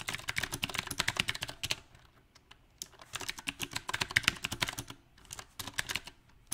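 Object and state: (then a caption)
Mechanical keyboard typing. Fingertips type on a mechanical keyboard with round plastic typewriter-style keycaps on a silver metal frame, making rapid, bright clicking key taps that stop almost instantly. The typing comes in uneven bursts, with brief quiet pauses around the third and sixth seconds.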